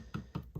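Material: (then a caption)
Steel. A steel knife blade blank is pressed on a flat surface and worked along, giving three dull, low taps where it is not touching in the middle. This shows the blade is warped and high at that end rather than flat, so it needs straightening in the vise.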